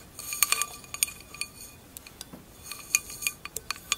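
An empty tinted wine glass lies on its side on fur while long acrylic nails tap its thin glass bowl. Sixteen quick, bright clinks ring out with crisp, high-pitched tones that fade almost instantly, each tap separate and delicate.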